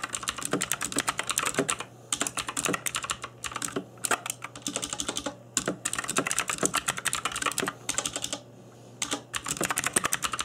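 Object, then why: Plastic mechanical keyboard. Fingertips in black nitrile gloves type on a cheap RGB-backlit mechanical keyboard with plastic keycaps. Fast bursts of bright, sharp clacking keystrokes are broken by brief pauses, over a faint steady low hum. Each tap is dry and clicky, with almost no ring.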